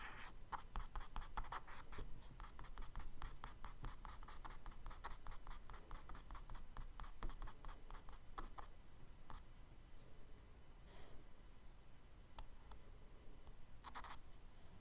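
A charcoal stick is scratched and rubbed in quick strokes across a tan kraft paper page in a spiral sketchbook to draw trees. Dense bursts of dry, bright scratching fill the first half, then the strokes thin out into sparser, softer rubs and a few sharp scrapes over a low, steady rumble.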